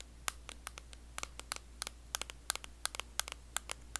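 Long blue acrylic nails tap and scratch the lid and printed back of a small, closed, round blue metal Nivea cream tin. About twenty sharp, dry clicks land in an uneven rhythm, each a bright, instant tick with no ring, over a quiet bed with a faint steady low hum.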